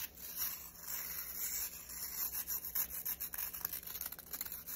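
Fingers quickly rub and scratch the nylon bristles of a black plastic round hairbrush. A bright, hissy scratching starts as a steady rasp, then breaks into quick, irregular strokes. The sound is quiet with almost no low end.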